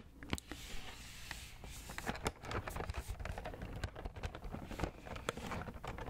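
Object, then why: Cardboard box. A hollow pink printed cardboard macaron box, held in both hands, is tapped and scratched across its front and sides with fingertips and nails. Quick, dry taps with low, hollow thuds and sharp bright clicks blend with a steady scratchy rustle, each hit dying away almost at once.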